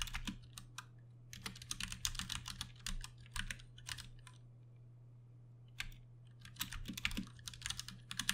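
Fingertips of both hands type steadily on a Ducky One 2 Mini, a compact 60% RGB-backlit mechanical keyboard with Cherry MX Brown switches, plastic keycaps and case, and hollow switch housings, resting on a desk mat. Bursts of sharp, bright, clacky keystrokes come in uneven runs separated by short pauses, over a constant low hum.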